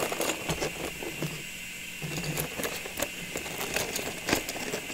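Long nails tap and scratch the sides of a clear plastic tube packed with small ornaments and wrapped with a red paper label. Quiet, bright clicking taps fall irregularly over a soft, scratchy rustle, each tap dying away almost at once.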